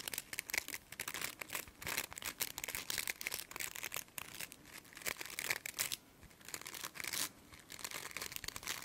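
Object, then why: Stiff plastic bristle brush. Long nails flick and scratch the stiff plastic bristles of a plastic brush. The result is a quiet, dense, crackly scratching made of rapid dry ticks in uneven bursts, bright and high with almost no low end.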